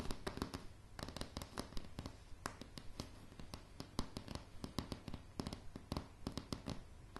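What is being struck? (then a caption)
Wooden floorboards. Long polished nails on both hands tap rapidly across a light, solid wooden plank floor. Many short, sharp clicks come in quick irregular bursts, each with a bright attack, a dull low knock underneath, and almost no ring.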